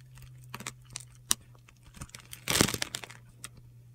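A metal utility knife blade carves small cubes from the scored surface of a solid, hand-sized yellow oval bar of soap held in the palm. The result is a string of short, dry, crunchy scrapes and clicks with bright, gritty detail. One denser crunch stands out near the end, and a low steady hum runs underneath.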